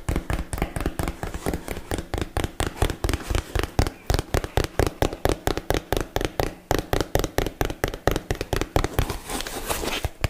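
A small, hollow, rectangular yellow printed cardboard box, held in hands close to the mic, is tapped with long fingernails and fingertips. About 46 short, dry taps come at a quick, uneven pace, each giving a hollow, low thud with a faint bright click that dies away almost at once.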